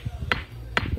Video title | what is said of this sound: Khanderi Fort - खांदेरी किल्ला - खांदेरी जलदुर्ग - Alibag - Maratha Navy - Khanderi Underi - Part 3 | आपल्याला साध्या दगडावर असा आवाज येतो.